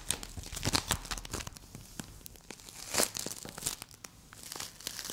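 A small solid green play foam ball made of polystyrene beads is squeezed, twisted and partly torn apart by two hands with long acrylic nails. Dense, crunchy crackling and tearing sounds come in quick irregular bursts, bright and mostly high-pitched. There is a louder cluster near the start and another around the three-second mark.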